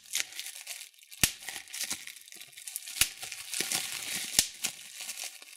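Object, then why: Plastic bubble wrap. Thumbs and fingers pinch and pop the bubbles on a sheet of clear plastic bubble wrap. Bright, crackly crinkling of the plastic runs throughout, broken by four sharp, loud pops that cut off almost instantly.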